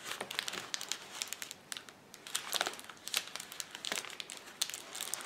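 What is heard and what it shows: Fingertips press, rub and scratch the bubbles of a flat, clear plastic bubble wrap sheet lying on a table. Dense, bright crinkling and scratching is broken by many sharp, crisp clicks and snaps, with almost no low end. The sound stays quiet and close throughout.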